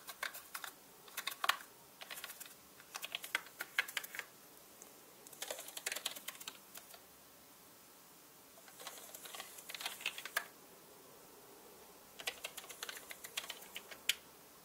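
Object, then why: Plastic mechanical keyboard. A small soft paintbrush is swept and rubbed across the plastic keycaps of a solid, full-size black mechanical keyboard with a metal-look top plate. Bright, dry ticking and clacking comes in bursts, with quiet pauses between them.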